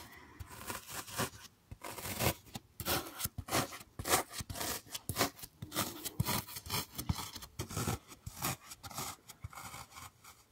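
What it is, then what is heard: Floral foam block scratched. A solid green floral foam block covered in finger dents is held up close and scratched and pressed with fingertips and nails. The result is an irregular run of dry, crisp, brushy scratching bursts, bright and gritty across the range with a faint low thump underneath, each stroke stopping short with no ring.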